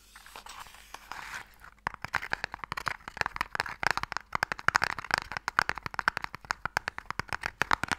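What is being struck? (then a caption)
Small wooden Mikado stick box. Long nails tap fast on the face of a small, long, hollow wooden Mikado box held upright. A soft scratchy rustle in the first two seconds gives way to dozens of quick, dry clicks with a hollow woody tone around 1.5 kHz and bright edges. Each click dies almost instantly.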